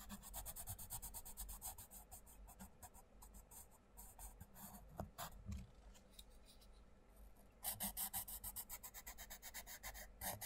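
A wooden coloured pencil rubs across a mandala page of an open paperback colouring book lying on a table, while the other hand holds the page flat. Quick, bright, scratchy strokes repeat in a steady back-and-forth rasp over a soft low hum, turning louder and more vigorous near the end.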